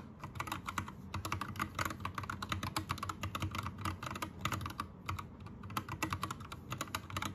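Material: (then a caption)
Plastic. Both hands type rapidly with their fingertips on an Anne Pro 2 60% mechanical keyboard with plastic keycaps and a rainbow backlight. A steady stream of quick, short clacky keystrokes carries a low thock underneath and bright ticks on top. Each stroke dies away almost instantly, and there are only brief pauses throughout.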